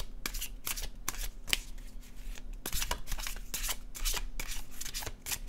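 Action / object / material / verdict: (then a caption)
shake / paper cardstock tarot deck / cardstock / none. An illustrated cardstock tarot deck is overhand shuffled in both hands, giving quick, crisp papery flicks and riffles with bright, short bursts. A faint steady low hum runs underneath throughout.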